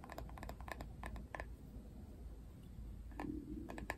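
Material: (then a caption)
Plastic. Fingernails tap and scratch the flat, hard plastic back of a paddle hairbrush printed with a Barbie face. Quick, sharp clicks come in clusters during the first second and a half and again near the end, separated by a quieter stretch of soft scratching. A low, steady rumble sits underneath throughout.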